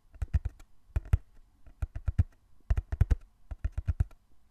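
Fingertips tap and scratch the surface of a small, closed, hollow brown corrugated cardboard box held in both hands. The result is quick bursts of dull, low, hollow thuds that stop short with no ring, separated by brief pauses.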